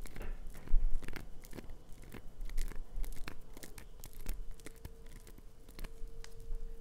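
A hand-sized chunk of solid green glycerin soap held in the palm is scratched and carved across its scored surface with long nails. The sound is a run of dry, crisp scrapes and sharp clicky bursts with a bright, crunchy edge, while a faint steady tone hums underneath in the second half.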